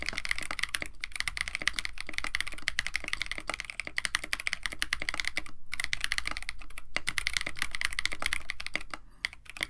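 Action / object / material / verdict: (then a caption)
tap / mechanical keyboard with PBT plastic keycaps / plastic / none. Continuous two-handed fingertip typing on a compact 65% KBD67 Lite mechanical keyboard with a white case, Techno Violet switches, an FR4 plate and blue and white PBT plastic keycaps. Rapid, irregular clacky keystrokes with short, sharp attacks centered around 2 kHz run through the whole clip, with brief pauses near 5.6 and 6.9 seconds and a softer stretch near the end.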